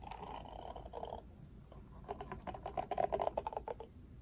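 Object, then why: Plastic hairbrush with cushion and bristles. Fingertips run and flick across the dense black bristles with pink ball tips on an oval plastic cushion hairbrush with a bright pink plastic rim and black cushion. A soft, steady brushing rustle gives way after a short lull to a quick, uneven run of sharp little ticking flicks with a mid-pitched tone that stop abruptly.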